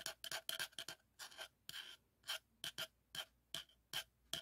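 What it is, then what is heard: Plastic tube scratched. A hollow teal plastic cylinder with a grained surface, held in both hands, is scratched and rubbed with fingernails along its ridges. It produces a quick series of bright, dry rasping strokes, each with a faint hollow ring near 3.2 kHz. The strokes are separated by near-silence and fade out almost immediately.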